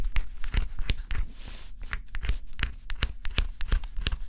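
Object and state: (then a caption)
Cardboard scratch-off puzzle being scratched. A small tool held in the fingers scratches the black scratch-off layer of a flat cardboard jigsaw puzzle, revealing a forest scene. Close, irregular scraping strokes with bright, gritty edges sit over a low rumble, and a hiss of steady scraping runs in the middle of the clip.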